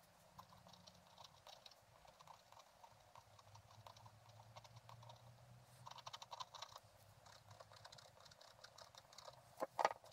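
A thin wooden stylus stick scratches a flat scratch-art card with a black coating over a gold layer, lying on a table, scraping away the black coating. Quiet, rapid dry scratches and light ticking scrapes follow one another over a faint low hum, with a denser burst of strokes midway and a sharper, louder scrape near the end.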